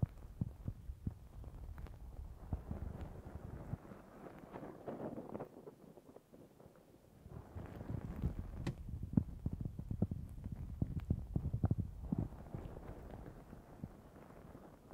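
Long nails scratch a black foam windscreen on a Zoom H6 recorder while both hands cup it, producing dense, muffled low rumbling and crackling scrapes with sharper ticks throughout. The scratching eases into a near-silent lull around the middle, then returns louder and busier before settling again.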